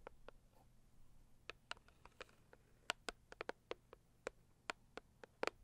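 Long acrylic nails tap and scratch across the lid of a medium, closed, hollow cardboard gift box printed with pink florals. About sixteen sharp, dry, bright taps ring out with no decay, spaced irregularly over faint scratching and low background hum, growing denser toward the end.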